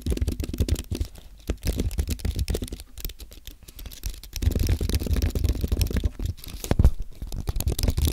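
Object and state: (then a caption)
Low-profile aluminium and plastic keyboard being typed on. Fingertips type on a compact white aluminium and plastic Apple keyboard, producing a steady run of soft, low, dull keystroke taps with very little brightness. The typing comes in quicker, denser bursts in places and thins out in others, especially in the middle and later stretches.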